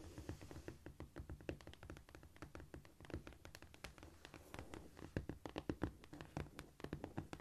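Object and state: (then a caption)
Cork floor. Long almond-shaped nails scratch and tap across a flat, solid cork floor with both hands. The result is a fast, uneven run of soft, dull taps with brief scratchy texture, with almost no ring after each touch.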